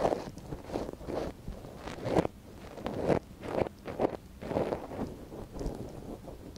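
A gloved hand holds the soft silicone ear of a binaural microphone while a thin wooden stick scratches inside its ear canal. Close, crackly rustling and scraping come in uneven bursts, with most of the sound in the low-mid range and a few louder strokes standing out.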